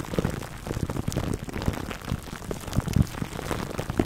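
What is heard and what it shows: Fingertips scratch and rub clear plastic cling wrap stretched over a black foam microphone windscreen. The result is a dense, continuous crackle of short crinkling pops, heavy in the low end with a muffled, rumbling quality. It has little brightness and no ringing between the scratches.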